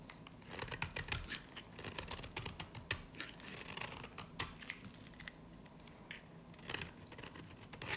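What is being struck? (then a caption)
Soap bar carved with a blade. A solid yellow-green bar of dry varnished soap, held in the hand, is scraped and carved with a snap-off blade. The sound is a steady run of bright, dry scrapes and crisp little cuts, with sharper clicks now and then as the blade bites and flakes break away. Each cut stops dead with no ring.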